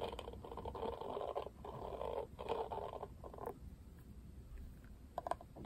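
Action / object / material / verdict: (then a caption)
scrape / plastic paddle hairbrush / plastic / none. Fingers scratch the bristles of a Barbie plastic paddle hairbrush in dry, rustling bursts for about three and a half seconds. The brush is then turned over, and fingernails tap sharply on its glossy printed plastic back.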